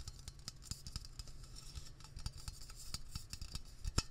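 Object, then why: Metal aerosol spray can. Fingertips tap rapidly on the label of a hollow, medium-sized metal Blue Coral aerosol can held close. The result is a fast, uneven stream of short, dry clicks, each with a low thud and a bright tick that die away almost instantly. One louder tap lands near the end.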